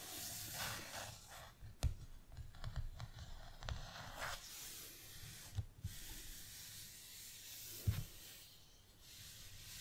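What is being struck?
Hardcover notebook with glossy cardboard cover.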